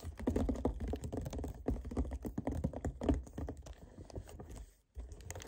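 Fingernails tap and scratch over the surface of a hollow 1 L white plastic kefir jug lying on its side. Rapid, dense clicking taps with a hollow, low-heavy body and short ring make a steady patter, briefly dropping to silence near the end before the tapping resumes.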